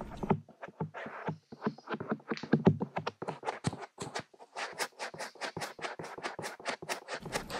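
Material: Silicone.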